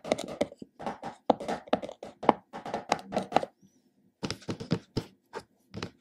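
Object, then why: Plastic tub with plastic lid. Fingertips and nails tap and scratch the top of a large plastic supplement tub's black glossy lid, with both hands used at the end. Quick, dry, hollow taps mix with short scratchy runs. After a brief pause midway, a final flurry of separate clicks follows.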